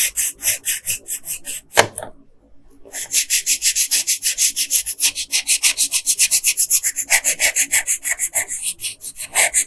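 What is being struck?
Colored pencil rubbed on a paper sheet.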